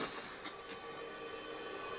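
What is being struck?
Nothing is struck.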